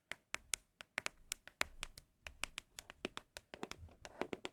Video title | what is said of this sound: asmr ☾ your MOST requested asmr triggers 🤫 | They just sound so good